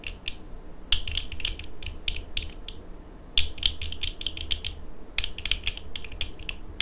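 Long acrylic nails on both hands tap the frames and rims of worn eyeglasses with small, hollow-rimmed dark plastic frames and lenses. The result is quick, irregular bursts of sharp, bright clicks that die away almost instantly, over a steady low rumble.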